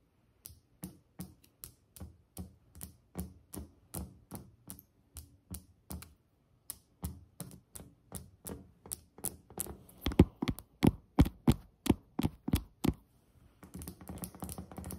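Long acrylic nail tips of both hands tap steadily on a solid white glazed ceramic tile countertop, making short, dry clicks with a low knock and almost no ring. The taps come at a slow, even pace, grow louder and sharper toward the middle, then pause briefly before breaking into a fast, continuous flurry of light tapping at the end.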